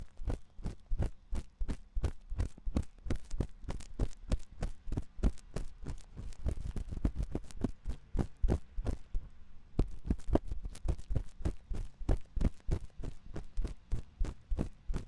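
A thin metal ear pick scratches inside the ear canal of the white silicone ear on a 3Dio binaural microphone. The result is a fast, steady run of short, dry scraping strokes heard as deep, muffled thumps around 59 Hz. They blur into a denser rustle in the middle before separating again.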